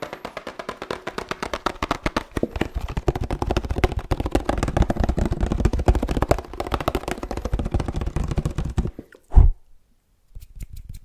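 A 1 L laminated paperboard oat milk carton is tapped rhythmically with the fingertips on its sides and bottom. It makes rapid, dull, hollow taps with a deep low thump and very short decay. Near the end a single louder thud comes after a brief pause, then there is a moment of silence before lighter taps resume.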